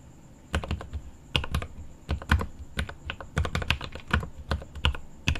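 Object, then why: Mechanical keyboard with plastic keycaps and aluminum case. Both hands type with their fingertips on the plastic keycaps of a mechanical keyboard with an aluminum case. Quick bursts of clacky, deep-bodied keystrokes come in uneven runs, each click short with little ring. A faint, steady high tone sits underneath.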